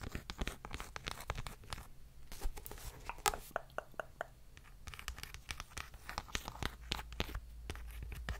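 Long nails tap on the cover of a paperback book, then scratch along its page edges and spine. Rapid, sharp clicking taps mix with dry, raspy scratching strokes over a steady low hum.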